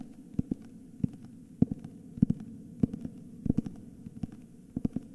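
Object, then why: Hardcover book with paper dust jacket. A solid cream hardcover book with a paper dust jacket is held in both hands and turned while fingertips tap and scratch its back cover and spine. Soft, dull, low taps come in an irregular series, some in quick pairs, over a faint rustling scratch. Each tap stops dead with no ring.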